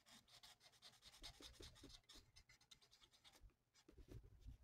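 A felt-tip marker rubs in quick back-and-forth strokes across a thin, flat paper coloring sheet of a mandala resting on a table. The result is a soft, steady, bright scratchy rasp with a faint low thump beneath it, quieter near the end.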